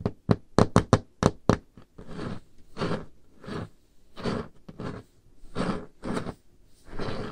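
Painted nails tap slowly on the surface of a large, solid, dark-stained wooden table top. About nine short, sharp knocks come first, with low, thudding bodies and almost no ring. They are followed by a series of longer, softer, noisy strokes across the surface.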